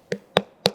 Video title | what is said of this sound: పుచ్చకాయ కొనే వారికి బండ గుర్తు ఇదే..! -- Dr.Vikram Adithya -- Best Tips To Pick Watermelon | Filling ఉన్నట్టు fill ఉంది, పూర్తిగా ఫిల్ అయి ఉంది. ఇది కేవలం నీటి శాతం అధికంగా ఉంది.